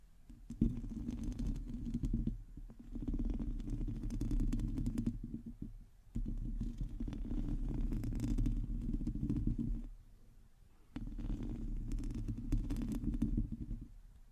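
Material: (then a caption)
Metal mesh. Long teal nails of both hands scratch over a hollow, domed metal mesh microphone grille, making a dense, low rumbling scrape with a hum near 230 Hz and faint high crackle. The scratching comes in three long bursts, with short quiet pauses between them.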